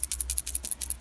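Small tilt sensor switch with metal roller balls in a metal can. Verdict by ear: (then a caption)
Loose. An SW520D tilt sensor switch is shaken, making the metal roller balls inside its cap shift and rattle. About eleven quick, dry, bright ticks sound in about a second, each a short burst of high hiss that dies away almost instantly. A steady low hum runs underneath.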